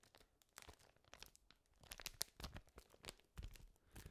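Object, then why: Thin paper sheet. A thin sheet of white paper is held in gloved hands, crinkled with the fingertips, then crumpled into a ball close to the microphone. Quiet, irregular crackles and sharp crinkling snaps come in quick bursts, with bright, dry edges and a soft low thump under some of them.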